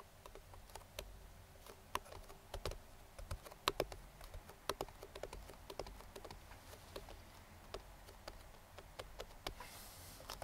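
Bare fingertips and short nails rapidly tap the side and lid edge of a hollow, printed cardboard speedlite box. About 30 short, dry taps land at an uneven pace, each a quick hollow knock with a soft low thud and a brighter clicky edge that dies almost instantly. The taps are quiet against a faint steady background hiss.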